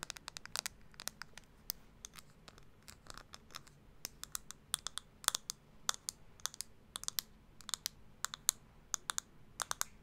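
Long acrylic nails tap a small round pink plastic blush compact held in one hand. The result is a steady stream of quick, bright, clicky taps in irregular bursts with no ring after each tap, over a faint low hum.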